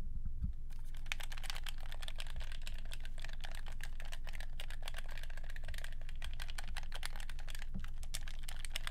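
A black, hollow, hand-sized plastic handheld game controller is held in both hands while fingertips repeatedly press and click its buttons. The result is a rapid, fairly steady run of sharp clicks like typing, bright and short, over a constant low hum.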